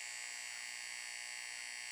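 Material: Nothing is struck.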